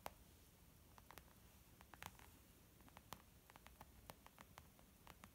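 Fingertips and nails tap both sides of a white textured leather zip makeup pouch, making a quiet, irregular series of soft, dry taps. Each tap is brief with a muted mid-range tone and bright clicky edges from the nails. A faint steady hiss sits underneath.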